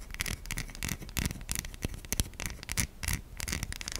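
Long nails scratch across the stamped face and logo of a white solid bar of soap, making quick, irregular dry scrapes and taps. The scrapes carry a bright, hissy edge over a soft low thud, and each stroke stops short with almost no ring.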